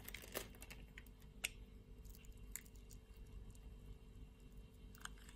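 A utility-knife blade scrapes small pieces off the diamond-scored surface of a solid red soap bar. Short, dry, crunchy crackles and scrapes with bright, crisp edges pop out at irregular moments, each dying away almost instantly. A steady low rumble sits underneath throughout.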